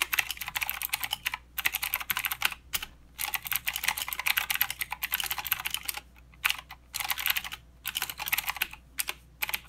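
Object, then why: Mechanical keyboard with plastic keycaps. Fingertips of both hands type continuously on a full-size mechanical keyboard with plastic keycaps and blue clicky switches. Rapid, bright clicks and clacks come in dense bursts separated by brief pauses. Each stroke is sharp and dies away almost instantly, with almost no low-end thump.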